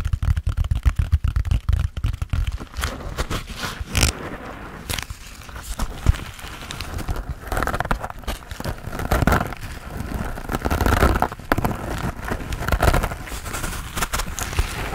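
Fingertips and nails tap and scratch a hand-sized grey textured foam sponge on a tan foam base, solid and porous, held in both hands. Quick, dull, low taps come first, then give way to soft, rough scratching with crinkly, crackling bursts. The sound stays muffled and close, with almost no ring after each touch.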